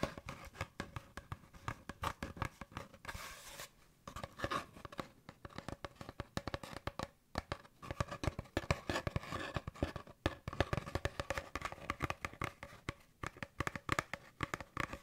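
An empty, hollow brown cardboard paper towel roll is held in one hand close to the microphone and tapped and scratched with fingertips and nails. Quick, dry taps with a low hollow thump mix with rustling scratches, and each sound dies away almost instantly with no ring. The sound stays quiet and steady throughout, with a brief pause just before the four-second mark.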